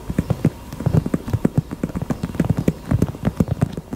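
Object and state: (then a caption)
Heart-shaped purse. A pink heart-shaped purse is tapped with the fingers in a quick, uneven rhythm. About two dozen short, dull, low-pitched taps land with almost no ring and no bright high end.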